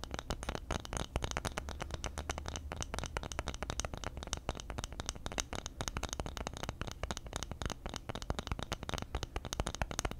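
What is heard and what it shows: A round bamboo lid held in the hand has its surface scratched quickly with fingernails, producing a dense, continuous run of fast, dry scratching clicks for about ten seconds. A steady low hum sits underneath the scratching throughout.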